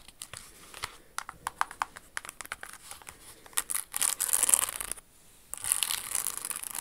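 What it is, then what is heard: Rhinestone-covered pump shoe. Long acrylic nails tap and scratch a red Jimmy Choo rhinestone pump with a crystal toe ornament and a metallic red insole, working over the crystals and the insole. Sharp, bright clicks come first in quick succession, then give way to dense, hissy scratching bursts. A brief near-silent pause follows before the scratching resumes.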